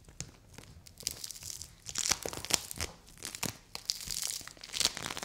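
A palm-sized purple dome of play foam made of small polystyrene beads, solid and soft, is scratched, squeezed and pulled apart by long white nails and fingertips. The clip is full of dense, bright crackling, crunching and tearing sounds, with many sharp clicks and short bursts of high hiss.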